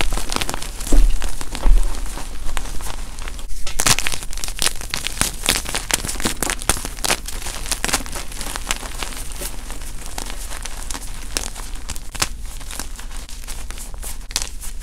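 White and lavender gym chalk blocks (magnesium carbonate) are squeezed and crumbled between the fingers of both hands over chunks and powder in a bowl. The result is a dense run of dry, gritty crunches and crackles, loudest in the first few seconds and then settling into a steady, softer crumbling.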